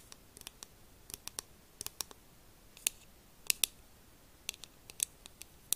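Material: Plastic.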